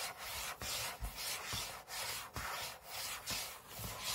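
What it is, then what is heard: Aluminium laptop lid being scratched. Short fingernails scratch the aluminium lid of a closed space-grey MacBook lying flat on a table, heard close up. Bright, hissy rubbing strokes repeat in a steady back-and-forth rhythm, each broken by a brief dip, with faint low thumps where the strokes change direction.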